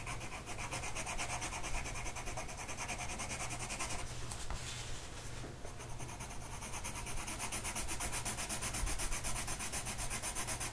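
A blue colored pencil tip is rubbed back and forth across a flat printed mandala coloring sheet of paper resting on a table and held down by one hand. The result is a steady, dry, scratchy rubbing with a fine rapid texture, easing briefly near the middle before resuming at a constant level.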